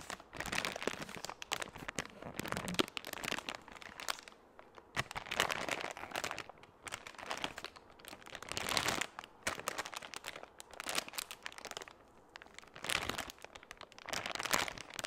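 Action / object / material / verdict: scrape / soft plastic wipes pouch with a hard plastic lid / plastic / none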